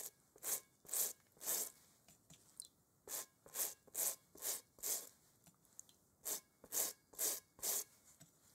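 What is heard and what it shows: A small bristle brush held in a gloved hand scrubs a large hollow inflated rubber kickball with a pebbled texture. Thirteen brisk, hissing strokes come in three quick runs with short pauses between. Each stroke is a bright, high rasp with almost no low end.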